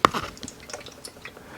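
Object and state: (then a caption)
Sealed liquid cooling loop with a small air gap (normal slosh). An NZXT Kraken Z73 sealed all-in-one liquid CPU cooler is shaken, producing a sharp opening slosh followed by faint, trickling liquid movement inside the pump and radiator loop. The sloshing comes from a small air gap left in the loop to allow for thermal expansion of the coolant, which is normal.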